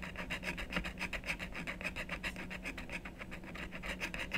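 A wooden stylus rapidly scratches and rubs the coating off a thin, solid black-coated scratch-art card lying on a wooden table. Quick, dry rasping strokes repeat at about three or four per second, with a bright scratchy edge and a faint steady low hum underneath.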